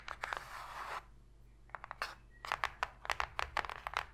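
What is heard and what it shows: Long pink nails and fingertips tap and scratch fast on the flat inner bottom of an open, empty, shallow white cardboard box. A brief burst of dry, bright scratching opens the clip, then after a quiet pause comes a rapid run of sharp, papery taps with almost no ring, all at a soft level.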